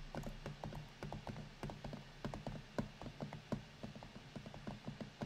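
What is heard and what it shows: Both hands type with their fingertips on a silver laptop's black plastic keys, with a metal-look palm rest, as the laptop rests on a granite counter beside an untouched microphone standing behind it. Quick, uneven bursts of short, dry taps and clicks sit over a steady low hum, with brief sharper accents and almost no ring after each keystroke.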